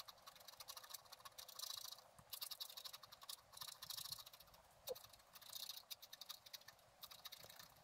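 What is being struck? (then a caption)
Wax-coated scratch art card scraped with a wooden stylus. A wooden stylus held in the fingers scratches lines into the black coating of a flat scratch art card, a thin, solid book page lying on a table. Quiet, bright, hissy scratching strokes come in short bursts with small pauses between them. There is almost no low end.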